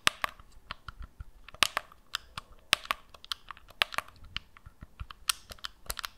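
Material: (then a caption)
Plastic. Long nails tap and scratch across the surface and buttons of a hand-sized, hollow black plastic gamepad held over the microphone. Around seventeen sharp, dry clicks come in an irregular run, bright and crisp with almost no ring and little low end, and faint scratchy rustle between them.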